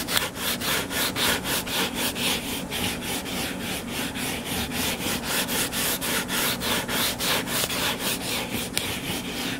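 Fingernails scratch back and forth across the cover of a solid purple paperback book lying flat, making a steady run of bright, rasping strokes at a brisk, even rhythm. Each stroke is a short burst of dry, hissy friction, with a faint low hum underneath.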